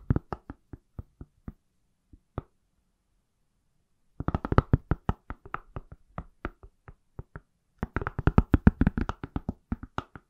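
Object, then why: Smartphone in a silicone case. An iPhone in a pale, palm-sized, solid silicone or plastic case is tapped with fingertips and nails. About 33 short, dry, low knocks come in sparse bursts with pauses between, each dying away almost instantly. Faster runs follow around four and eight seconds in.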